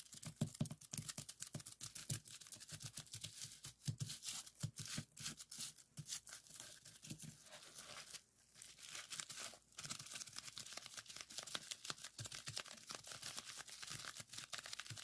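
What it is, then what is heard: Plastic bubble wrap. A strip of clear plastic bubble wrap on a wooden table is pressed and popped with fingertips. Dense, rapid pops and crinkles with bright, crackly highs and a soft low thump continue throughout, with two brief pauses near the middle.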